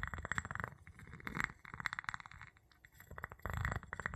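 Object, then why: Glass jar and wooden pestle. The tip of a wooden pestle taps and rubs the bottom of an empty clear glass jar with a gold metal lid, held in the palm. Bursts of quick, clinking taps with a glassy tone near 2 kHz over a soft low thump alternate with a quieter stretch of scratchy rubbing, before a final flurry of taps.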